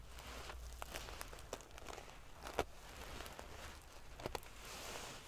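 Long painted fingernails scratch and ruffle a large decorative pillow covered in rows of small silver metal sequins sewn onto fabric. A steady prickly rustle of clicking, scraping metal pieces is heard, with sharp louder ticks standing out at moments and a soft low rumble underneath.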